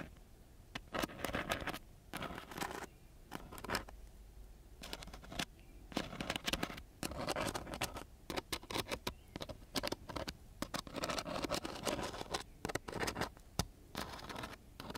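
A ballpoint pen tip scratches across a flat sheet of coarse-grit sandpaper in quick, gritty bursts. The rasping strokes come in short clusters separated by brief pauses, with broadband scratchy noise reaching into high, bright frequencies.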